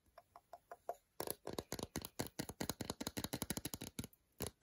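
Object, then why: Milk chocolate bar tapped with fingernails. Long decorated nails tap and scratch the segmented front of an unwrapped solid milk chocolate bar, about 100 g, held in the hand. Six soft, evenly spaced taps with a faint hollow tone open the clip, then a rapid run of sharper, brighter clicks and scrapes follows, with short pauses, until the end.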